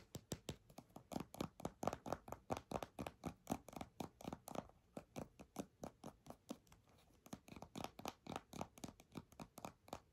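A filled purple plastic squeeze tube of hand cream with a white cap is tapped and scratched with long nails. The result is a steady run of quick, dry, clicky taps and scratchy strokes with almost no ring.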